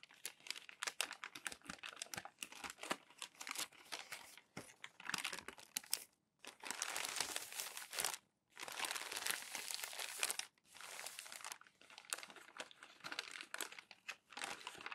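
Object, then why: Glossy magazine paper pages. Hands smooth and rub crumpled glossy magazine pages flat on a stack, producing dense, bright crinkling and crackling. The rustling comes in bursts separated by brief pauses, with almost no low end.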